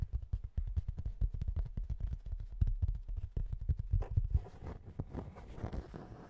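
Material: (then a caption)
Cork. A flat, pale, speckled cork tile about 30 cm square and thin is held close and tapped rapidly with fingertips and nails. The taps make a dense run of soft, dull, low thuds with almost no ring. Toward the end, the tapping thins into a lighter, rustling texture.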